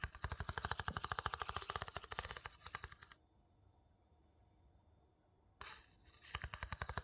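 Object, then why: Small empty wooden bowl and wooden scoop. A wooden scoop is rapidly tapped and scraped against the inner rim and inside of a small, hollow, light-colored wooden bowl, held empty in one hand. A fast run of dry, clicky taps lasts about three seconds and gives way to near silence. Scraping and quick tapping then resume for the final second and a half.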